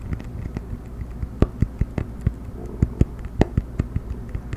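A round cork coaster is held edge-up close to the microphone and tapped quickly with the fingertips and nails. An uneven run of short, dry, low-heavy taps and sharper clicks sounds over a soft, scratchy rustle, each hit dying away almost at once.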